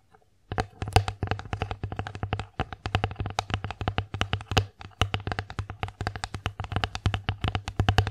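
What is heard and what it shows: Long acrylic nails rapidly tap and scratch a thin, solid, flat bear-shaped bamboo children's plate held upright. The result is a dense run of short, dry, clicky taps with bright edges and almost no ring, over a steady low hum.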